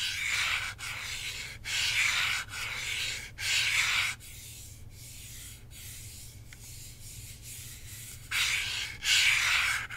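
Fingertips and nails rub and scratch across the plastic top surface of a hollow Nintendo Switch controller, red and blue Joy-Cons on a black grip, held in one hand. Bright, dry, sanding-like scratches come in back-to-back strokes for the first four seconds. A stretch of much quieter, softer rubbing follows, then the loud scratching strokes return near the end.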